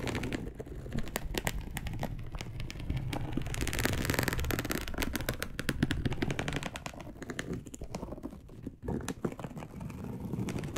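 A dark brown perforated polyester mesh fabric sheet, laid flat, is scratched with long acrylic nails. The result is a dense run of quick, dry scratching clicks and crackles over a low, steady rumble. A few bright, sharp taps stand out between the strokes.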